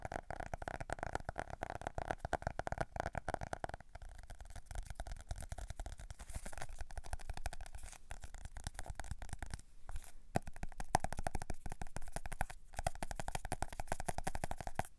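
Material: Faux leather.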